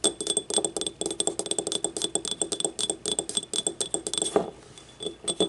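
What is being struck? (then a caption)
Small ceramic cup. Long nails tap rapidly on the rim and wall of a small, hollow, empty yellow ceramic paint cup with paint stains inside, its open mouth facing forward. Each tap makes a short, dry clink with a mid tone and high, glassy overtones, decaying almost instantly. The quick taps come in bursts, with a brief quieter pause near the end before a few final taps.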